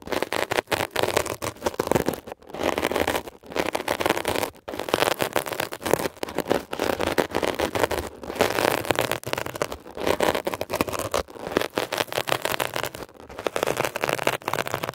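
A metal ear pick is scratched across a blue mesh-covered textured foam scrub sponge, making dense, rough crackling and scraping with a midrange body and bright edges. The scratching comes in quick bursts broken by brief silent gaps throughout.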